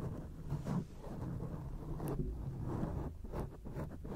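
Long acrylic nails scratch across a grey foam microphone windscreen. The result is a steady, muffled low rumble with soft rustling bursts that rise and fall, almost no high end, and no clear separate strikes.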